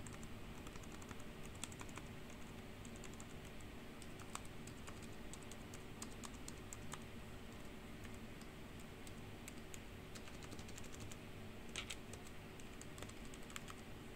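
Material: Plastic.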